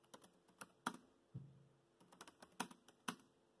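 Fingertips type on a laptop keyboard with black plastic keys, producing quiet, irregular clicks and taps with bright, short attacks. One softer, duller thump lands partway through, and each keystroke dies away almost instantly.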